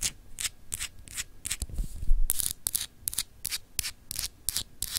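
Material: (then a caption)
Glass. Long acrylic nails scratch and rub across a small, solid, clear etched glass globe paperweight. A quick series of short, bright, raspy scraping strokes is heard, separated by brief pauses, with a soft low rumble of handling around the middle.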